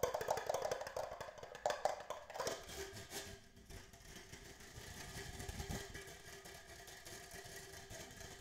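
Fingertips tap quickly on the walls and base of an empty, hollow red plastic party cup held in both hands. The rapid, irregular taps make a hollow, mid-pitched knocking with short bright clicks: louder bursts in the first few seconds, then a softer, steadier patter.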